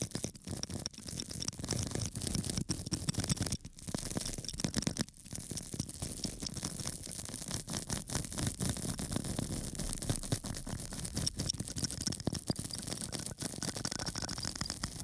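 A small metal tool scratches up and down across a small, flat square of pink porous foam held in one hand. The result is a dense, continuous rasping scratch with a low rumbling body and a bright hiss on top, broken by many quick crackling strokes at a steady level.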